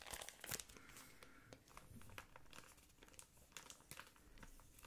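A yellow patterned thin plastic ice cream wrapper is held close and crinkled with the fingertips. A quiet, steady stream of dry crinkling and crackling follows, with sharp bright snaps rising above a soft rustle and a louder burst near the start.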